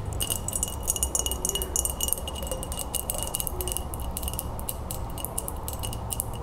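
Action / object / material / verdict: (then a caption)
tap / glass mason jar tapped with fingernails / glass / none. An empty, hollow, clear glass mason jar, held on its side, is tapped quickly on its base and rim with long acrylic nails. Dense, rapid clicks with bright, high glassy ringing sit over a steady low rumble, and each tap dies away almost instantly.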